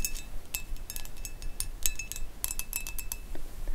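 A clear pressed glass dish shaped like a carriage, hollow and empty, lies on a dark mat and is tapped and scratched with long acrylic nails. Bright, high glassy clinks and ticks come in an irregular patter, each dying away almost at once, over a soft scratching hiss.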